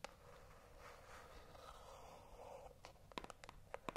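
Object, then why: Small cardboard box. A small, hollow white cardboard box held in both hands is scratched with long acrylic nails, giving a soft, steady scraping rasp for about three seconds. This is followed by a quick, irregular run of sharp, bright nail taps and clicks on the box. The overall level stays quiet and close.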